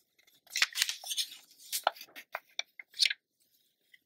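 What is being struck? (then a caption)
Glossy paper magazine page. A long-nailed fingertip rubs and scratches the edge of a page in an open glossy paper magazine lying flat, and then the page is turned. The sound is a quiet, bright, papery rustle with crisp scratches and short crackling ticks, with no low end. Brief pauses fall between the strokes.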